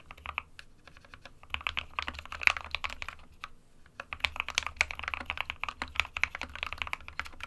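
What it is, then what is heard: Plastic mechanical keyboard typing. Fingertips of both hands type continuously on a small 60% white plastic-cased Geek SK61 mechanical keyboard with plastic keycaps and RGB lighting, resting on a printed desk mat. Rapid, bright, clacky keystrokes come in quick bursts, with a brief lull around the middle before the typing picks up again. Each click dies away almost instantly over a faint low hum.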